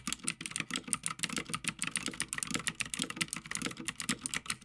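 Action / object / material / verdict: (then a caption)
tap / mechanical keyboard, plastic keycaps on metal plate / plastic, metal / none. Fingertips of both hands type continuously on a full-size backlit Havit mechanical gaming keyboard with plastic keycaps on a metal top plate. A steady, rapid stream of sharp, bright clacks rings out, with each keystroke dying away almost instantly and little low-end weight.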